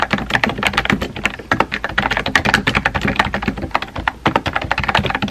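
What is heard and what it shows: Fingertips with painted nails type rapidly on a compact, hollow-bodied pink plastic mechanical keyboard with round white-and-pink typewriter-style keycaps, resting on a desk. A dense, steady stream of short, clacky key taps rings out, each with a bright click over a light hollow thump, decaying almost instantly between strokes.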